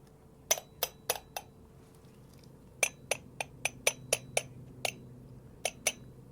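A ceramic gaiwan (lidded tea cup), bought around 2012 for about $20 and once broken then repaired with kintsugi, is tapped 14 times with a miniature katana letter opener. Each tap is a bright, glassy clink that dies away almost at once, in irregular groups of three to five. The sound is rated a seven out of nine.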